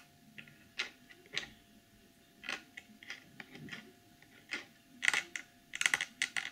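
Long nails tap the back of a clear plastic packaging box with printed text on it. Sharp, bright clicks come in irregular bursts, some soft and some louder, with a faint steady hum underneath.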